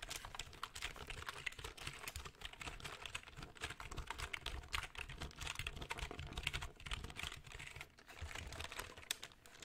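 A black plastic full-size computer keyboard is held close to the mic while fingertips type and tap on its keys. A dense, steady run of quick, dry, bright key clicks continues throughout, each dying away almost instantly over a soft low-end thump.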